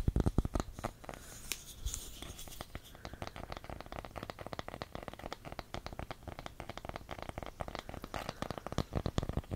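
A round, solid, light wooden candle lid with engraved text is held close and tapped and scratched with fingertips and nails. The result is a steady stream of quick, dry taps and soft scratching over a low rumble, with each tap dying away almost instantly and a few louder knocks at the start and end.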